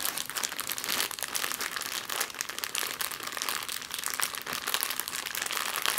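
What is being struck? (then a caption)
Thin clear plastic bag. A thin, empty clear plastic bag is scrunched and scratched on a table with long nails and fingertips. It gives a steady, dense crinkle of sharp, bright rustles and crackles with almost no low end, continuing without pause for the whole clip.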